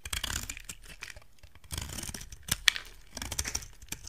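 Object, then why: Bar of soap scraped with a knife blade. A solid rectangular white soap bar held in hand is carved and scraped with a utility knife blade. Dry, crisp scraping and shaving bursts come in quick succession, mostly bright and high, with one sharper click near the middle.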